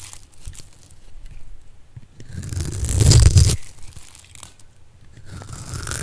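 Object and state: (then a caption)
Dry soap bar being cut. A metal blade scores a solid purple bar of dry soap held in the palm into a grid and cuts it into small cubes. Soft crunching and tearing scrapes swell into a loud, dense crumbling burst midway, then ease back to quieter crunches.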